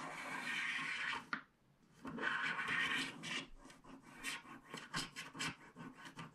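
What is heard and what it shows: A wooden stylus scratches quick, dense strokes across a coated paper scratch-art card lying flat on a cloth surface, scraping off the black coating while the other hand steadies the card. A long, bright, dry rasp runs for just over a second, stops briefly, then resumes. It breaks into a run of shorter, uneven scratching strokes centered in the upper mids.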